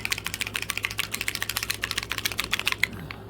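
A plastic paint bottle with an internal mixing agitator is shaken vigorously so the agitator mixes the contents, because the paint must be properly mixed before it works. About 22 rapid, sharp, bright rattling clicks come in an uneven rhythm for three seconds, then the shaking stops and the sound fades to quiet.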